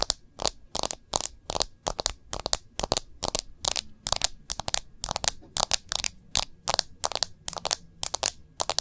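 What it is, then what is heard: Smartphone in a clear plastic case. Long nails on both hands tap quickly on the back of a smartphone in a clear plastic case. Each tap is a crisp, bright click with almost no ring and little low end. The taps come in a steady, uneven patter across the whole clip.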